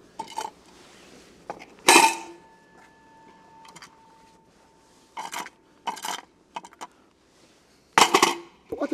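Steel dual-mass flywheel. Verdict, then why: Broken. A steel dual-mass flywheel and clutch assembly removed from a Mercedes CLA is shaken, giving bursts of sharp metallic clanks and rattles, with a faint ringing tone near 900 Hz lingering after one loud clank. The rattle comes from the flywheel's broken and destroyed damper springs and cushioning parts, which let it move freely, so the flywheel is faulty.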